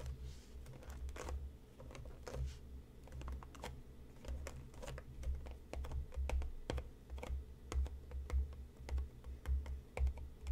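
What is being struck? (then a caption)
Cardboard tea box. Fingertips and nails tap the front and top edge of a medium-sized, hollow printed cardboard tea box resting on a cutting mat. The result is a steady stream of quick, irregular, dry clicks with very short decay, each carrying a soft, low, hollow thump beneath a bright tick.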